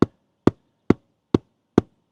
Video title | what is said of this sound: How To Install Your Own DIY Solar System - No More Power Bills! | this is more Hollow over here